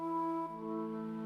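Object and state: Nothing is struck.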